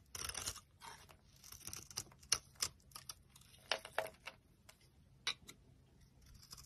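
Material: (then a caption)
Soap. A solid, dry orange bar of soap held in the palm is shaved into curls with a metal utility knife blade, scraping and carving. The clip is a quiet run of about 16 short, crisp, crunchy scrapes with a bright, high hiss and almost no low end. Each cut stops dead with no ring.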